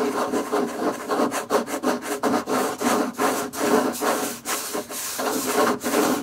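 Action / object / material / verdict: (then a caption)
scrape / wooden table / wood / none. Fingerpicks scratch and tap on a wooden table, making a steady run of dry, rasping strokes broken by brief dips and light taps. The sound is bright and papery, with no low rumble.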